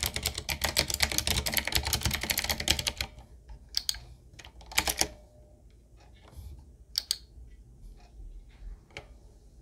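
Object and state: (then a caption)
Mechanical keyboard typing. Fast, bright, clacky typing on a 7Keys full-size, typewriter-style retro mechanical keyboard with a solid body, round plastic keycaps on a dark metal plate, and a wooden-looking frame, tapped with the fingertips of both hands. A dense burst of rapid keystrokes fills the first three seconds, then thins into scattered single taps and short clusters separated by quiet pauses.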